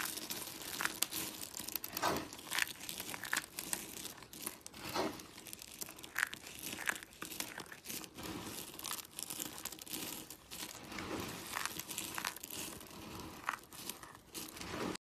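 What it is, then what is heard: Dry soap flakes being crushed. Fingertips and nails dig into a pile of small, dry pink, blue and white soap shavings on a white surface, squeezing and crumbling handfuls. The flakes give off a dense, steady stream of dry, bright crunching and crinkling, with sharper crackles popping out as they are crushed.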